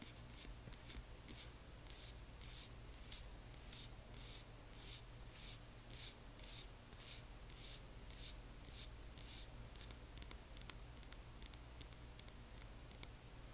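Long nails scratch and tap a small frosted amber glass dropper bottle with liquid inside as it is tilted sideways. Quiet, bright, hissy scratching strokes come in a slow, uneven rhythm, then give way to sharper, short clicking taps near the end, over a faint low hum.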